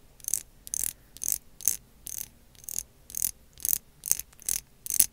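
Long acrylic nails scratch along the ridges of a small, slim translucent lilac ridged plastic lip gloss tube with a pink cap, and also tap on it. This produces eleven short, bright, crisp scratching bursts with almost no low end, spaced at a steady, unhurried pace.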